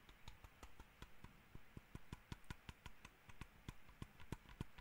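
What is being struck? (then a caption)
Plastic computer mouse shell. Fingertips and nails tap the top shell of a small, hollow black plastic computer mouse, making about twenty quick, dry taps in an uneven rhythm. Each tap is a short, soft hollow thud with a faint bright click on top, dying away almost instantly at a quiet level.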